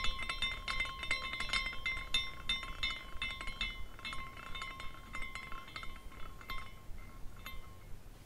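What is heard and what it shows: A small glass carousel figurine spins while its hanging glass pieces clink against each other in quick, irregular taps. Bright, chime-like tinkles keep ringing with steady tones near 1 and 2 kHz over a low background hum.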